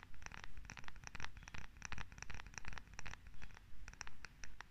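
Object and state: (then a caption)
Wooden massage tool scratched and tapped with nails. A solid wooden massage tool with a rounded head and a handle, held in both hands, is scratched and tapped with long nails. A steady, regular rhythm of bright, crisp scratching clicks rises and falls in repeated swells over a low, soft rumble.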